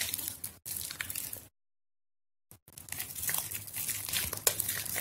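A soft, mushy white bar of soap, soaked in a plastic basin of water, is squeezed by hands with long yellow nails as pieces crumble off. Bright, wet crackling and squishing sounds fill the clip, broken by a full second of silence in the middle.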